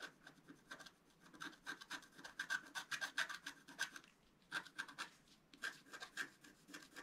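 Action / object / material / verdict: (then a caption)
scrape / wax-coated scratch-art paper scratched with a wooden stylus / coated paper / none. A wooden scratch stylus scratches fine lines into the black wax coating of a flat, roughly A4 scratch-art paper sheet lying on a white table and held down by one hand. Quick, irregular, dry scratching strokes rasp with a bright, papery edge. There are brief pauses near the four-second and five-and-a-half-second marks.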